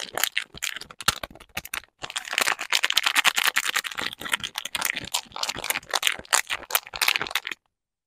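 Fingertips and short nails tap and scratch the back of the pink printed paper wrapper on a small solid bar of Vital Chiffon Peel soap, held in both hands over artificial grass. The result is a dense run of quick, bright, crinkly paper clicks and scrapes with no low end and almost no ring. There is a brief gap near two seconds, and the sound stops just before the end.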